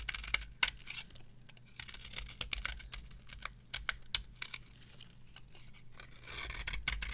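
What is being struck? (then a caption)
Bar of soap scraped with a metal knife. A metal knife scrapes and carves a cream-colored, varnished dry bar of soap held on the palm. Dry, crisp scraping and crackly snapping cuts come in quick irregular bursts, bright and high with sharp peaks, over a faint steady low hum. The strokes fade into softer rasping before building again toward the end.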